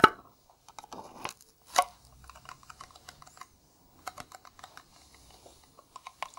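Bare fingertips tap a hollow, round blue Nivea metal tin held in the hand. The taps are light and irregular, with a sharp, tinny ring around 1.3 kHz and bright clicks that die away almost at once. Stronger knocks come at the start and just before the two-second mark.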